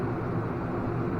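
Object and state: Nothing is struck.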